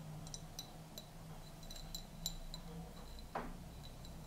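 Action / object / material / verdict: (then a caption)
tap / small glass jar / glass / none. A small, clear, hollow glass jar, partly filled with dried mint leaves, is held in both hands and tapped on its rim and sides with painted fingernails. The taps make light, scattered clinks with a short, high glassy ring. A steady low hum sits underneath.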